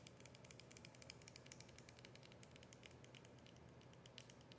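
Long nails tap rapidly on the plastic body and label of a capped, partly filled plastic soda bottle as it is held and turned. The result is a quiet, continuous stream of short, bright clicks with almost no ring, over a soft low hum.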